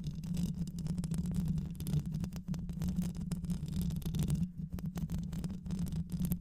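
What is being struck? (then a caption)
Microphone with metal mesh grille. Long nails scratch the mesh grille of a black hollow microphone, possibly metal, with both hands throughout. The result is a dense, continuous, low rumbling scrape with a steady hum near 160 Hz and rapid bursts of scratching texture on top.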